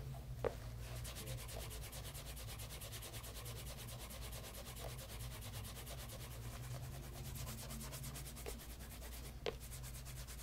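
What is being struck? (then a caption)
Pebble grain leather loafer with wooden shoe tree. Cloth-wrapped fingers rub the toe and side of the upper on a bespoke pebble grain leather loafer fitted with a wooden shoe tree, held and tilted. A steady, rhythmic swishing rub with a fine bright texture runs throughout over a low hum, broken by a few sharp, brief ticks.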